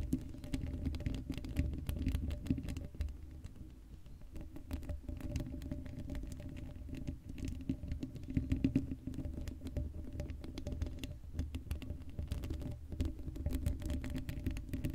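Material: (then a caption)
Steel mesh. Long acrylic nails scratch the hollow black steel mesh grille of a Blue Yeti microphone with no cover on it. The result is a dense, continuous patter of rapid scratches with a heavy, boomy low end and a steady tonal hum throughout.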